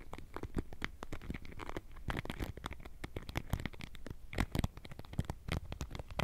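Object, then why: Wooden paddle hairbrush with plastic pin bristles. A wooden-frame paddle hairbrush with a rubber cushion and plastic pin bristles is held by the handle near the mic while long nails and fingertips repeatedly scratch across the bristles. The result is a dense run of quick, dry scratching and crackling ticks, many short broadband bursts with a soft low rumble underneath.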